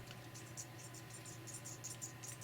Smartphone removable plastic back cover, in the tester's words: sometimes when you tap like this you can hear it